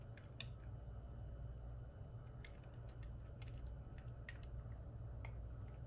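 A solid white rectangular bar of soap, held in the hand, is sliced with a red-handled metal utility knife blade. Quiet, crisp scraping and cutting clicks come through over a steady low hum.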